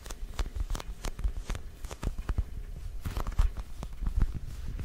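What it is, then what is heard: Foam squishy pumpkin toy. Fingertips and short nails of both hands tap and scratch a small, solid orange foam squishy pumpkin toy with a painted face. The result is an irregular run of soft, dull thuds, mostly low and deep, each with a brief, quickly damped bright click and almost no ring, mixed with faint scratchy rustling between the taps.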